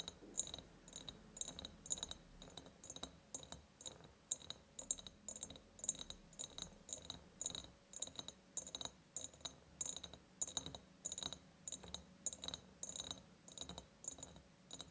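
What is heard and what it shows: Long nails scratch and tap near the top of an empty, ribbed, clear glass jar. A rapid, uneven run of bright, glassy clicks and ticks is heard over a soft scratching texture, each tap dying away almost instantly.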